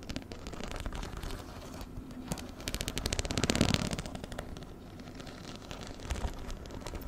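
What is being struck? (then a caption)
Fabric handbag with metal-set rhinestone studs. Fingernails scratch and tap across the rows of metal-set rhinestone studs on a small, hollow black fabric handbag held up close to the mic. The result is a dense, irregular run of quick, dry clicks and crackly scratches with a soft hollow low-end thump. It swells to its busiest, loudest stretch around the middle before settling back to lighter tapping.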